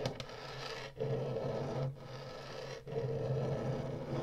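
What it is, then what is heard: Plastic game console. Long nails tap the buttons of a hollow plastic Atari retro game console and scratch along its ridged top and woodgrain front edge. Four steady, rasping scrape passes, separated by brief pauses, have a low hollow hum and a mid-range grainy rasp. There is little brightness and almost no ring.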